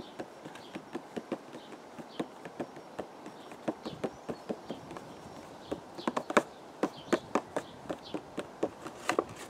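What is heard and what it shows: A hollow purple cardboard teacake box, held in the hands, is tapped with the fingertips, giving about 28 short, dull, muted taps. The taps come at an uneven pace, mostly light and growing somewhat stronger toward the end, over a faint steady background hiss.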